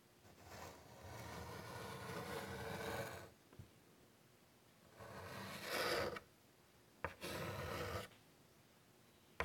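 A white chalk stick draws long curved lines across a large, flat, wood-framed chalkboard, making three long, dry scratching strokes separated by quiet pauses and brief taps. The rasp is mostly mid-range with some bright hiss, and the final stroke ends with a short click.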